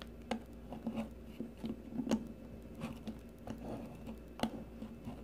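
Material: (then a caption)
Soap. A solid, rounded green soap bar held in the fingers is shaved with the metal blade of a blue peeler. Soft, short scraping strokes come one after another, quiet and dull, over a faint steady hum.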